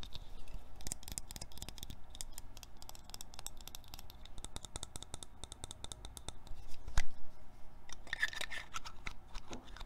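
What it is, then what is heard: Metal spray bottle, scratched and tapped. A small silver metal perfume spray can, its cap removed, is scratched and tapped rapidly with short painted fingernails. The result is a dense, raspy run of quick clicks and scratches with a brief louder tap near the seven-second mark.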